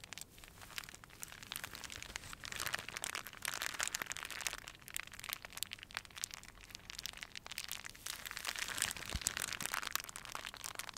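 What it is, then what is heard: Clear plastic wrap. A small crumpled piece of clear plastic wrap is held in cupped hands and crinkled and squeezed by the fingertips. It makes a quiet, steady stream of bright, crackling crinkles with little low end. The crackles swell in a few denser bursts.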